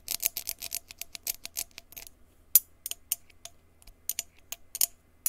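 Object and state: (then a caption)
Empty glass jar. A small, clear, empty glass jar with a threaded open mouth is held in one hand and tapped on its side with a blue plastic stick or pen. A rapid, uneven series of about twenty light, bright clicks follows, each dying away almost at once with no lingering ring and almost no low end.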